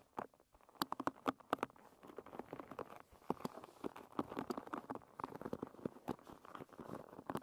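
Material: Wood.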